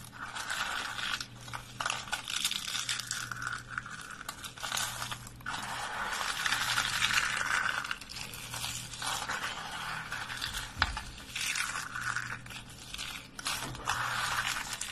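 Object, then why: Lavender soap curls and flakes. Fingertips snap and crumble thin tubes of dry lavender soap curls and flakes. A dense, steady stream of crisp, bright crunching and crackling runs throughout, swelling and easing in waves.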